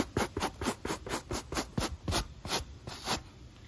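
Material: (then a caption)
Rubber. A rubber sneaker outsole with its foam midsole, held in hand, is scrubbed with a pale natural-bristle wooden brush. Eleven quick, dry scratching strokes rasp in a steady rhythm, each bright and bristly with a short body and almost no ring. The strokes soften slightly toward the end.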